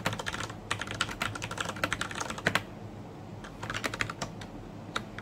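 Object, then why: Plastic mechanical keyboard. A black plastic mechanical keyboard with Cherry MX Brown switches, red-backlit keycaps and a hollow housing is typed on, with fingertips pressing and tapping the keys. Quick, bright clacky keystrokes come in bursts, pause for about a second around the middle, then resume with a steady low hum underneath.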